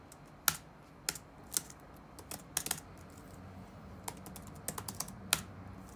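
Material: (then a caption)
Plastic. Fingertips tap the black plastic keycaps of a dark laptop resting on a wooden desk. Thirteen light, sharp, bright clicks arrive in an irregular rhythm, each dying away almost instantly over a quiet background.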